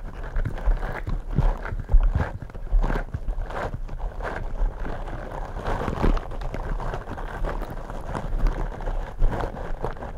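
Fingertips in smooth purple rubber gloves tap and scratch two black foam microphone windscreens. The result is a steady run of soft, muffled thumps and rustling scratches, heavy in low rumble with little brightness.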